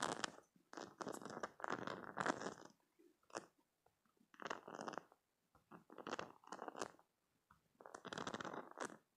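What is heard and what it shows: Fingernails scratch and flick the soft spikes of a squishy green silicone spiky cube stress toy held in the hand, and squeeze it. Quiet bursts of crunchy, rubbery crackling and scratching come in clusters with brief pauses, with a dry, bright texture and no lingering ring.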